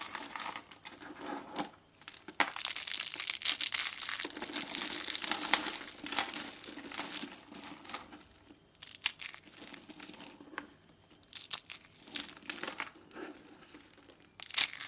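Fingertips squeeze and crush hollow, coiled rolls of thin, dry, pink-purple soap shavings on a wooden table, with loose soap flakes scattered around them. The sound is a dense, bright, crisp crunching and crinkling that comes in bursts with short pauses. The rolls break down into crunchy flakes.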